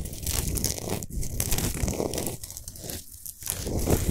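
Long nails scratch fast across a large, solid Himalayan salt sphere lamp lit from inside. The result is a continuous, gritty, crunching rasp with a bright, crackly top and a fuller low rumble. It holds at a steady level for about four seconds, with brief dips between strokes.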